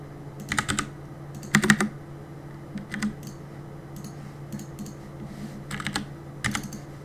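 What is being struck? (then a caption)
Mechanical keyboard with plastic keycaps. Fingertips tap the plastic keycaps of a black mechanical keyboard in short, irregular bursts of quick clicky keystrokes separated by pauses. The clacks are sharp and bright with very little ring, over a faint steady low hum.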